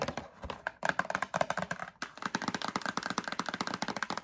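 Long acrylic nails tap and rub the front and side of a medium printed cardboard Breakfast Essentials box held in hand. The result is a quick, uneven run of short, dry clicking taps with light scratchy rubbing and almost no ring, pausing briefly twice before picking up again.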